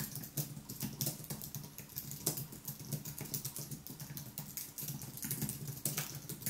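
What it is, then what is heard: Aluminium and plastic keyboard being typed on. Fingertips type continuously on the white plastic keys of a thin aluminium wireless keyboard, seen from the side. A quick stream of short, soft clicks with bright tapping edges sits over a steady low hum, each keystroke dying away almost at once.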